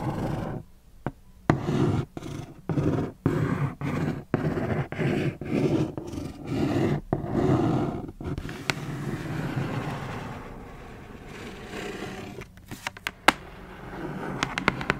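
Long acrylic nails of both hands tap and scratch the lid of a closed, hollow, medium-sized black cardboard Converse shoebox lying flat. Short bursts of dull, low, rustling scratches with brief gaps give way to a steady, continuous scrape in the middle. The clip ends with a few sharp, bright clicks of nails against the cardboard.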